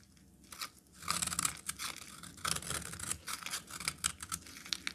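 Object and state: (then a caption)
Bar of soap being cut. A metal utility knife blade cuts into a solid, hand-sized peach bar of soap, breaking chunks off. After a quiet start, bright, dry crackling and crisp snapping bursts come in rapid, uneven runs with almost no ring.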